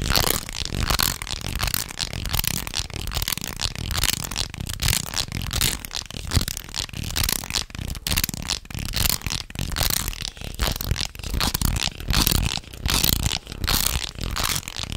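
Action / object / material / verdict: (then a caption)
shake / segmented wooden snake toy / wood / none. A segmented, light wooden jointed snake toy is held in both hands and flexed and wiggled so its wooden links rattle against each other. The result is a dense, irregular stream of short, dry clicks and clatters, with a soft low rumble under bright, crisp highs and no ringing after each click.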